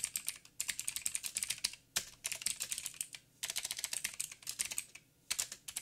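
Fingertips of both hands type on a backlit mechanical keyboard with black plastic keycaps on a silver frame and a hollow housing. Quick bursts of sharp, bright, clicky taps come with brief pauses between runs. Each tap dies away almost instantly, with very little low end.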